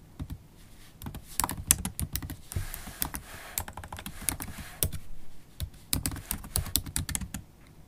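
Typing on a MacBook Pro keyboard, black plastic keys in an aluminium body, with long acrylic stiletto nails. Quick, uneven clicks and taps come in bursts, each sharp and short with a bright top and a soft low thud beneath.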